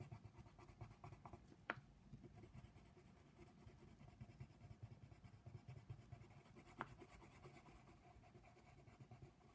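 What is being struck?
Colored pencil on a paper coloring page.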